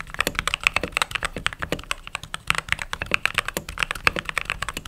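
Fingertips with short nails type rapidly on the white plastic keycaps of a backlit mechanical keyboard. A fast, steady stream of sharp, bright clacks fills the clip, each keystroke dying away almost instantly with little low-end body.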